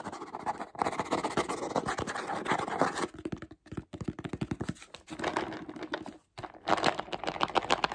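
Fingertips and short nails tap and scratch the black screw lid and sides of a clear plastic jar full of mixed nuts, which sounds hollow, while the nuts are shaken inside. Dense, scratchy rasping alternates with bursts of rapid, bright tapping in quick, close-set clicks.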